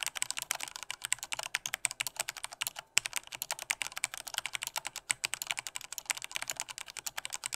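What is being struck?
Plastic mechanical keyboard.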